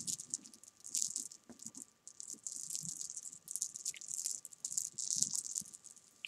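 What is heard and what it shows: Fingertips and long painted nails rake, roll and tap a loose pile of small, solid, sugar-coated jelly beans against each other on a fabric sofa cushion. The result is a dense, bright rattle of tiny, crisp clicks that swells and fades in bursts, with very little low end. A faint steady tone sits underneath.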